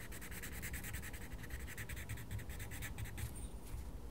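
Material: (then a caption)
Paper. A wooden coloured pencil makes rapid scratching strokes on the page of a small paper colouring book. The strokes come as a steady run of bright, papery scratches over a constant low rumble, staying at an even, quiet level throughout.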